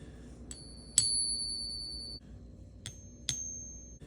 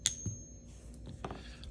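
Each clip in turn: First: Light taps bring out a clear, high ping that rings on for over a second, typical of genuine silver. Second: A sharp high ping with a thin ringing tone, then short dull clicks: a fake silver coin sounding flat.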